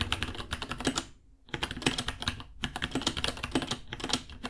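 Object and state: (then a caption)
Plastic mechanical keyboard. Both hands type with fingertips on a small white 66-key mechanical keyboard with Gateron Brown switches, white plastic keycaps, a hollow case and pink underglow, resting on a white desk. Rapid, bright, clicky key taps clatter in quick bursts, with a brief pause near the one-second mark before the typing resumes.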